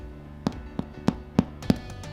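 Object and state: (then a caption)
Baked-through bread loaf, sounds hollow. A homemade small loaf of flour, water, salt and oil, baked at 220 degrees for 25–30 minutes, is tapped on its bottom to check whether it is done. Five short, dull knocks with a low hollow tone around 200 Hz die away almost instantly. The loaf sounds hollow, meaning it is baked through.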